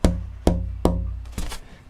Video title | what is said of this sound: Build Your Own Acoustic Guitar - Braces- LIVE! Soundboard X-Braces | a beautiful loose um unhindered sound of a vibrating guitar top